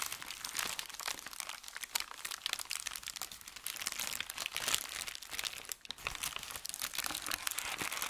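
A thin white sheet of wrapping paper is rubbed with fingertips, then gathered and crinkled by hand. The result is dense, bright crackling and rustling that sits almost entirely in the high range with almost no low end. Many sharp, short crinkles run steadily through the whole stretch at a fairly even level.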